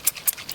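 A plastic oil separator chamber on a scooter's air filter box, partly filled with cleaning liquid, is shaken during cleaning. Short bright sloshing splashes are heard as the liquid moves inside. The sound confirms there is liquid in the chamber.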